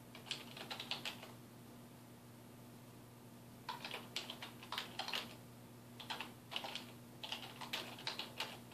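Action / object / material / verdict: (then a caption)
tap / plastic computer keyboard / plastic / none. Fingertips type on a dark plastic desktop keyboard resting on a wooden desk, producing quick bursts of bright, crisp key clicks. The typing comes in short runs with a pause of about two and a half seconds near the start, over a faint, steady low hum.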